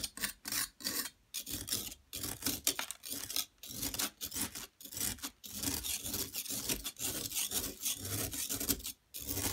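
A flat metal blade scrapes a solid yellow plaster excavation block, piling up powder. Repeated bright, gritty rasping strokes come in bursts separated by brief silent pauses.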